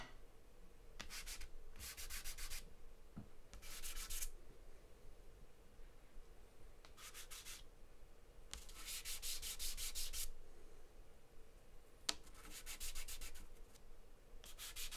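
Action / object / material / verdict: scrape / charcoal stick on a paper drawing sheet / paper / none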